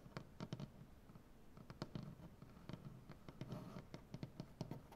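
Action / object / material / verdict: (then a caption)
tap / maple butcher-block tabletop / wood / none. Both hands scratch and tap a large solid maple butcher-block tabletop with painted nails. Quiet, quick taps land with a dull low thump and a crisp high click that dies away almost instantly, with soft scratching filling the gaps between them.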